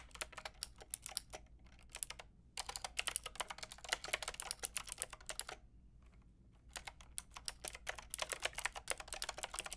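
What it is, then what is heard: Plastic mechanical keyboard being typed on. Long painted nails and fingertips type on a white-pink backlit mechanical keyboard with round plastic keycaps. Rapid, bright, crisp clacks come in bursts, with a brief break and then a longer quiet pause midway before the typing resumes.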